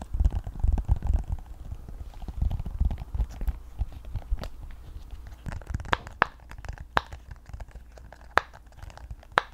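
A rainbow, octagonal, flat, hand-sized silicone pop-it fidget toy with hollow bubbles is held in both hands and tapped, scratched and pressed with long painted nails. The first half is a dense run of soft, low, muffled rubbing and thumping. It then thins into scattered sharp, bright nail clicks and taps with almost no ring.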